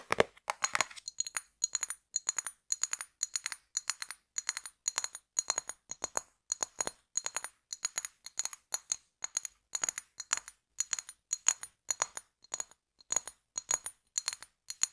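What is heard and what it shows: A brown glass beverage bottle with a pink label is held in both hands while fingernails tap and scratch its body. Quick bursts of sharp, bright clicks and scratches repeat steadily, each with a brief high glassy ring and almost no low end.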